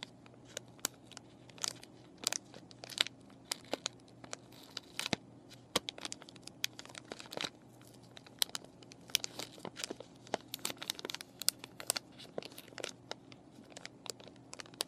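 Fingernails scratch a clear plastic and cardboard paintbrush package with brushes inside, and fingers squeeze and crinkle it. The result is quiet, bright, dry crackles and sharp ticks, dozens of short snaps over a faint steady low hum.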